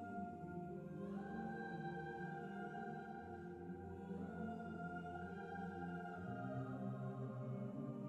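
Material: Nothing is struck.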